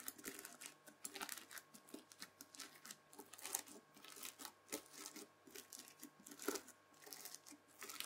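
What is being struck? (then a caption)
Bead-filled floam slime scraped with a plastic fork. A white plastic fork drags through the bead surface of spread-out red bead-filled floam slime. It makes dense, bright crunching and crackling in quick uneven bursts of tiny pops, with a faint steady tone underneath.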